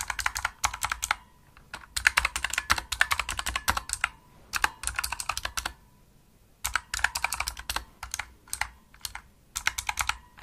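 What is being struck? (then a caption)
Plastic mechanical keyboard. Long nails and fingertips type rapidly on a pink plastic Razer mechanical keyboard with backlit keys and a hollow body. Quick, bright, clicky key presses come in bursts separated by short pauses, each tap dying away almost instantly.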